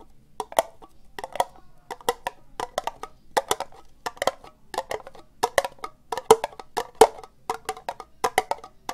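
Fingernails slowly tap an empty, hollow orange ribbed plastic cup held sideways. Dozens of short, dry, hollow clicks come in an uneven rhythm, each with a mid-range knock and a bright tick. The taps stop almost instantly, with no ring after them.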